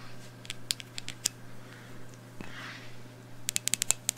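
Long blue nails tap on a medium black glass candle jar with a round label, held in one hand, filled with wax and with a lit candle burning inside. Thirteen sharp, bright clicks come in two clusters, a scattered group early on and a quicker run at the end, over a steady low hum. Between the clusters there is a soft, faint rustle.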